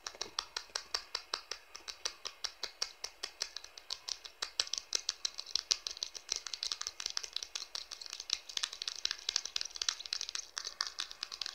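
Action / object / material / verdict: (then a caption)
tap / plastic smartphone back panel / plastic / none. Fingertips and nails tap quickly across the plastic back panel of a blue smartphone, near the camera. The result is a fast, steady stream of sharp, dry, bright clicks with almost no low end and no ring, growing slightly denser and brighter partway through.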